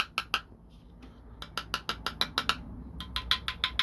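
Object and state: Hollow plastic knife handle.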